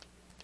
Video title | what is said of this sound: The Magic Shop Course - Martin Preston (30 Tricks) | you can hear the coin tap it with your wand or a pen